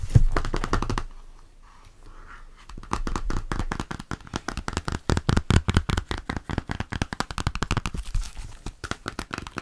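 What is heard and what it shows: Fingertips tap quickly on the stiff cover of a red hardcover Bescherelle verb-conjugation book held in one hand. The result is dense, rapid, dry taps with a low, thumpy tone and almost no ring. A brief quieter lull near the start gives way to steady fast tapping.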